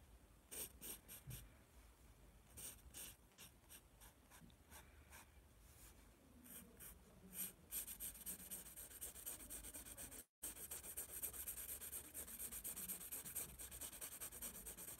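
A graphite pencil scratches and rubs lines across the lower page of a spiral paper sketchbook held in one hand. Quiet, bright, dry strokes come in short bursts, then grow into denser, steadier scratching after a brief dropout near the ten-second mark.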